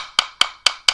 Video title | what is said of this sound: Flooring 101: Understanding the Different Types for Your Home | it sounds very clicky, very hollow, and very cheap when you tap on it with a quarter